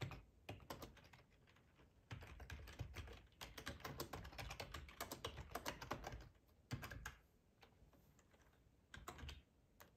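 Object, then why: Plastic computer keyboard. Fingertips type on a black plastic ergonomic split keyboard with a hollow housing, resting on a cloth tablecloth. Quick, dense clicks and clacks come in bursts with short pauses, each keystroke carrying a low, hollow thump under its bright click.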